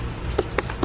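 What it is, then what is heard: Watermelon, knock test with no verdict. Three short, dull knocks on a watermelon, each a brief low thud around 375 Hz that dies away almost at once, heard over a steady low background hum. It is a knock test to hear whether the melon sounds hollow, but no verdict is reached.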